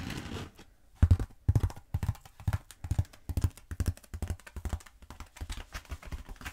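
Long nails tap and scratch the surface of a long black foam roller held diagonally. After a brief soft scratchy opening, dozens of quick, dull, low thuds follow in uneven bursts, each dying away almost at once, with faint brushing between them.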